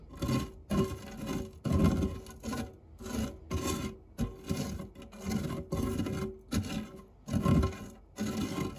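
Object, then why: Metal fluted tart tin scraped with a silicone spatula. The tip of a white silicone spatula rubs and scrapes across the textured base of a round, dark non-stick metal fluted tart tin with crumbs in it. The result is a series of dry, rasping scrape strokes, heavy in low end with a faint tonal hum, separated by short pauses.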